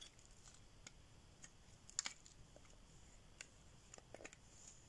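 A solid green bar of dry soap is held in the hand and shaved with a metal blade, forming curls. Faint, bright, crisp scrapes and dry ticks come in scattered bursts over a low hiss, with a sharper pair of cuts near the middle. Each cut stops dead with no ring.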